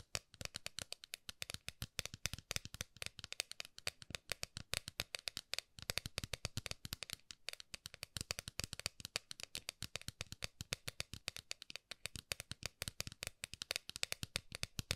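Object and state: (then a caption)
Metal lid tapped with fingernails. Long manicured nails tap rapidly across the top of a flat, round, palm-sized gold-coloured metal lid or compact held between both hands. The result is a quiet, continuous stream of dry, bright clicks, each dying away almost instantly.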